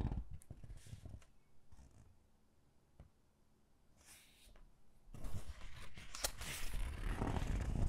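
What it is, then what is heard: Glossy-paged hardcover book being handled. Hands turn the glossy pages of an open hardcover book, then press and rub a flat palm across a page. Soft papery rustles and taps come first, fading to near-quiet in the middle. From about five seconds, a louder, dense rubbing and swishing takes over, with a heavy low-end rumble and brief bright crinkles.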